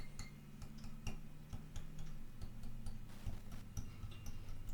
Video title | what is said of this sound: Yamaha FG445 Spring tune-up | by tapping, you should be able to hear that teep teep sort of sound. So that tells me that it's cut in at least a fairly good spot